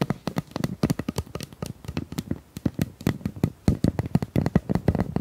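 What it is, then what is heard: Plastic pop tube. Long nails tap and scratch across the ribbed surface of a hollow pink corrugated plastic pop tube about 25 cm long. It makes a rapid, uneven run of short, dry, hollow taps with a low-pitched body, separated by faint ribbed scratching. Each tap stops almost instantly, with no ring.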